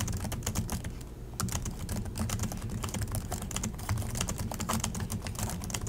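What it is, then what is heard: Plastic laptop keyboard. Both hands type continuously with their fingertips on the plastic chiclet keys of an Acer laptop keyboard. The result is a fast, steady stream of short, dry taps and clicks over a low, thumpy body, with a brief lull near the one-second mark.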